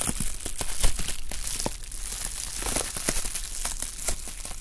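A sheet of clear plastic bubble wrap, held in both hands, is crinkled and squeezed with the fingertips. It makes a steady stream of dry crinkles and sharp, bright snaps over a low rumble. The sound stays close and busy throughout.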